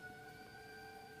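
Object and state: Nothing is struck.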